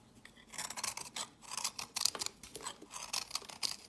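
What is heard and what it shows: A snap-off utility knife blade scrapes and carves a solid, hand-sized pink bar of soap with orange and cream chunks, held in the hand, into crumbly shavings. A quick series of crisp, bright, dry scraping strokes is heard, each short with no ring and almost no low end.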